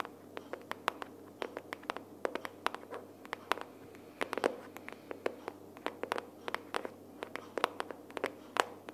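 Long nails tap rapidly on the front cover of a closed pink cardboard sticky-notes box held upright. The result is dozens of quiet, dry, clicky taps in an irregular rhythm, each centered around 1 kHz with bright tips and no ring, over a faint steady background hum.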